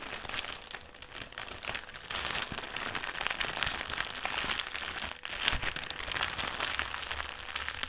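A folded black foil-lined metallised plastic crisp (chips) bag rests on a table while fingertips rub and scratch it. This makes dense, continuous, bright crinkling and crackling, with most of the energy in the high range. The crinkling grows louder after about two seconds and briefly dips just past five seconds before picking up again.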